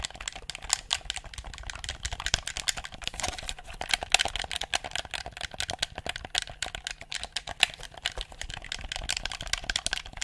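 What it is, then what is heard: Plastic game controller buttons clicked. A handheld, hollow black plastic game controller is held close to the mic while its buttons and sticks are pressed and clicked with thumbs and fingertips. A rapid, uneven stream of short, dry, bright plastic clicks and taps runs throughout, each dying away almost instantly, with a faint low rumble underneath.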